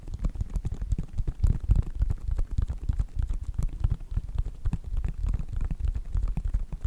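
Fingertips and nails tap rapidly and unevenly on the side panels of a white Nike sneaker with a synthetic upper. The sound is a dense stream of short, dull, low thumps that die away almost instantly, with faint brighter ticks from the nails.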